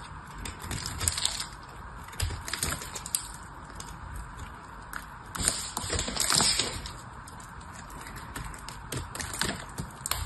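A small blade carves into the end of an elongated, hand-sized solid dried soap bar with a ribbed, blue-painted surface, and chips crumble off. Dense, bright, crisp crackles and scraping crunches run throughout, with louder bursts as pieces break away.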